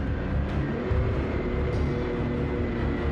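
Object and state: Nothing is struck.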